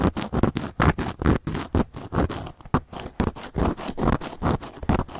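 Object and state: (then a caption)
Cork coaster being scratched. The tip of a handheld carving tool scratches and carves a round, flat, solid cork coaster. It makes a quick, uneven series of short, dry scraping strokes, about two per second, each a low, muffled rasp with a faint bright hiss on top that stops almost instantly.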